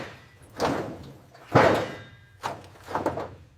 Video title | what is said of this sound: Restoring a Destroyed Pontiac GTO Found in Forest - Full TransformationAbandoned Pontiac GTO | Dropping the tank, it sounds hollow, like a bell tolling.